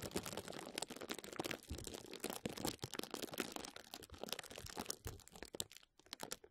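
Clear plastic bubble wrap draped over a microphone is scratched and squeezed with fingertips and nails. It produces dense, close crinkling and crackling with bright, crisp snaps that continue throughout, easing briefly near the end before a few final crackles.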